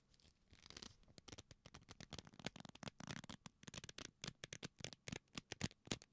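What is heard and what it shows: A leather belt is folded into loops and pressed and rubbed between the fingers and palms. This makes a rapid, irregular run of short creaks and rubs with a bright, scratchy edge over a soft low body.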